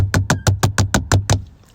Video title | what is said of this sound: make press ons last one month - Onycholysis Nail Transformation | that was me banging on my car window but they sound sturdy don't they